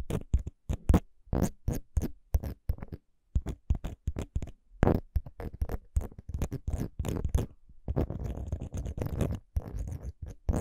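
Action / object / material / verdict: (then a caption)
scrape / metal microphone capsule housing scratched with long nails / metal / none. Long decorated fake nails scratch the small, solid metal microphone capsule head fixed to a handheld recorder. Quick, dry scratching and tapping bursts come in rapid irregular runs, with heavy low thumping body and no ringing after each stroke.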